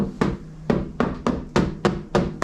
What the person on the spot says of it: this is the sound of metal